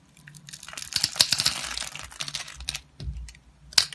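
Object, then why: Bar soap. A utility blade cuts and scrapes through a solid rectangular blue bar soap that has been scored in a grid, making dry, crisp crunching and crinkly scraping sounds that are bright and mostly high. Small cubes crumble off the bar in a quick run of sharp little snaps, with a brief pause before a final sharp crack.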